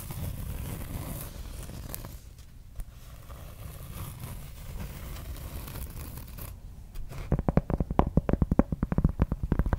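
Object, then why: Cork board. Long red nails scratch the surface of a large, round, solid thin cork board held upright close to the mic. For about seven seconds there's a soft, low, rumbling scratch. It then turns into a quick run of sharp, dry, crackly strokes that reach up into bright highs.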